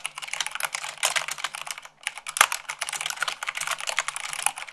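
Fingertips with long nails type fast on a full-size mechanical keyboard with white plastic keycaps on a black frame. Rapid, bright clicky keystrokes pour out in dense bursts with a brief pause near the middle. Each key strike is short and sharp with almost no ring and no low end.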